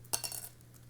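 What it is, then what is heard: Medium-resonance guitar pick dropped on a table. A medium-resonance guitar pick of man-made material, from a set of three materials, is dropped onto a table so its tone can be compared with darker and brighter picks. It lands with three quick, bright clicks as it bounces, with a high, glassy tick and very short ring before settling into quiet.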